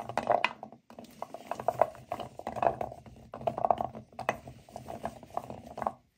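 Hands with long nails rub, squeeze and pick through a dry pile of small, solid natural cork wine stoppers in a white bowl. The result is a steady stream of soft, dry, midrange cork-on-cork rubbing and clicking, with short, unresonant taps. Two brief pauses break the sound before it stops just before the end.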